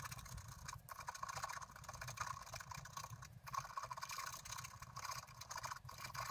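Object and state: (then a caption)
Scratch art card being scratched. A pointed wooden stylus scratches short strokes across the flower area of a flat black-coated scratch art card lying on a table, while the other hand steadies the card. The result is a steady stream of dry, bright scratching with a faint low rumble underneath, rising and dipping as each stroke starts and stops.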